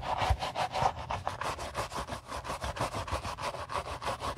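A gloved hand holds a white leather Gucci Ace sneaker while a wooden-handled bristle brush scrubs its inside lining and outer side. About sixteen quick, rhythmic back-and-forth strokes produce dry, scratchy swishes, each short burst ending almost at once.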